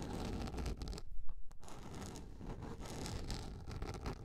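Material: Plastic.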